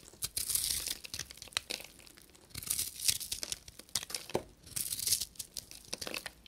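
A solid, dry soap bar with a copper-painted crust and a fluffy blue inside is held in the hand and scraped and shaved with a knife blade. Bright, crisp scraping and crumbly shaving sounds come in repeated bursts of short, dry ticks, crunches and tearing rasps with almost no low end.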